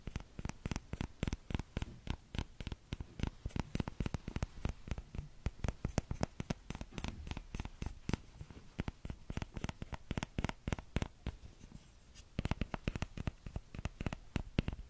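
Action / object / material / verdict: tap / small plastic ladle / plastic / none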